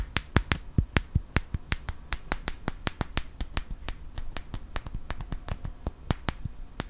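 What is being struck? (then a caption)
Small wooden clothespin with metal spring. A small solid wooden clothespin with a metal spring is held close and clicked and tapped with fingertips and nails. About two dozen sharp, dry clicks come in a quick, uneven series, each with a bright high snap and almost no ring.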